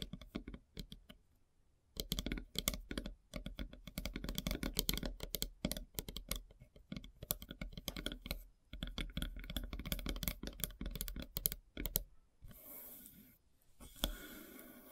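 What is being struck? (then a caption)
Wooden log slice board. Long silver-painted nails tap rapidly on the solid surface of a large, flat slice of light-colored wood with a bark edge. Dense bursts of short, dry clicks with a low knock and a bright top come in quick runs, broken by brief pauses. Near the end they give way to a steadier, hissing rasp across the grain.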